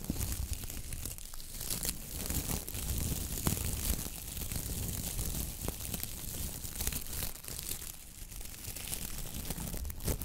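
Long nails scratch and flick the stiff, dry bristles of a coconut fiber (coir) dish brush with a wooden handle. The result is a steady, dense crackling and crinkly rasping, dotted with sharp bright ticks over a heavy low rumble. It dips briefly quieter near the end.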